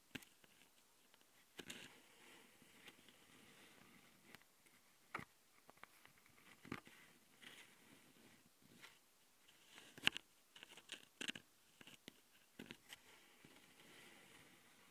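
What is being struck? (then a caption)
Metal mesh microphone grille on a plastic recorder body. A single long glitter nail scratches and taps the left microphone capsule of a Tascam handheld recorder, a metal mesh grille on a plastic body. The quiet, bright, dry scratching rustle is broken by sharp, close taps that stop instantly with no ring, and there is almost no low end.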